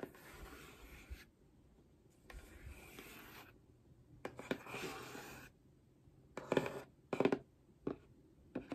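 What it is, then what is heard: Cardboard box scratched with nails. Long nails scratch and rub across the surface and edges of a medium, hollow, handheld grey cardboard box. Soft, bright scraping strokes alternate with brief quiet gaps, followed by a series of sharper, louder scratches and taps near the end.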